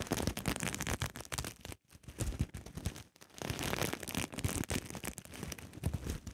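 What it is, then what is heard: Sequin fabric pouch being scratched. Long nails brush and scratch across the flipping sequins of a soft, sequin-covered fabric pouch. A dense, crackling, scratchy rustle runs throughout, with a full low body and a bright fizz on top, and it breaks off briefly near 1.8 and 3.1 seconds before resuming.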